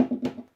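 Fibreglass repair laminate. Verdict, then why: Detached. A stick taps twice on the white, colour-changed area of an old fibreglass repair laminate on a boat, producing dull, short knocks around 250 Hz that die away almost at once. The dead sound shows this part of the repair is unattached and detaching.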